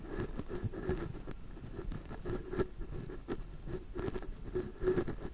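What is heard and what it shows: A wide orange-bristled paintbrush sweeps and rubs across the grilles of two crossed, small, hollow metal mesh microphone capsules. The result is a steady, close, low-heavy pattering and scratching with a faint tone near 380 Hz. Brief brighter swishes rise above it as individual strokes land.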